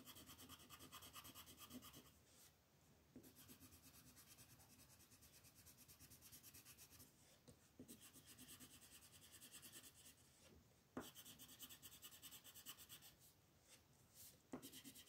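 A yellow-orange wooden colored pencil shades a flat white paper mandala sheet with rubbing strokes. It makes a soft, bright, scratchy rasp in quick back-and-forth bursts, broken by a few brief pauses and light taps against the paper.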